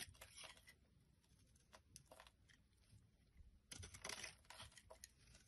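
A solid dark blue bar of soap, held in the hand, is shaved and scraped with a metal blade. Quiet, crisp scratchy bursts with a bright, brittle texture come in an irregular rhythm, growing louder and denser toward the end.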